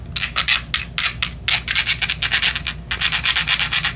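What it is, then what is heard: Glass perfume bottle. Long acrylic nails quickly tap and scratch a small, partly full clear glass perfume bottle with a pink plastic cap. The result is a rapid run of bright, crisp scratching strokes with sharp hissy bursts and almost no low end.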